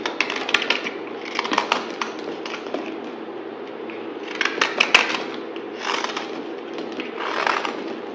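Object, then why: Bar of soap cut with a knife blade. A utility knife blade cuts and scrapes shavings off a solid pink bar of soap held in the hand. Dry, crisp scraping and crackling come in repeated bursts, bright in tone, with sharp little snaps between the strokes.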